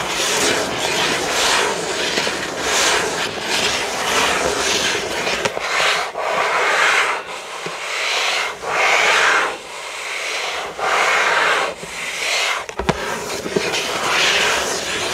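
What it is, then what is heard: Cardboard box scratched. Fingertips of both hands scratch and rub the back of a hollow, printed cardboard building-block box lying flat. The result is a steady, dry, bright scratching rustle that swells and fades in repeated waves, with a few brief sharp ticks and almost no low end.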